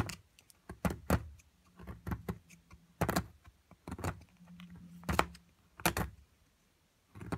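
A metal chisel chips and scrapes at a solid plaster block from an amethyst crystal excavation kit, with a pile of plaster flakes around it. Sharp, dry clicks and taps come in a string of quick bursts, with softer scraping and a faint low hum between them.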